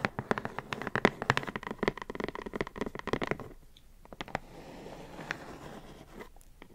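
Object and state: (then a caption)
Cardboard box tapped and scratched. A closed, medium-sized printed cardboard puzzle box with cartoon art, held in hands, is tapped and scratched with long acrylic nails. Rapid, crisp tapping with short dry knocks fills the first half, then gives way to a softer, steady scratching hiss with a few scattered taps.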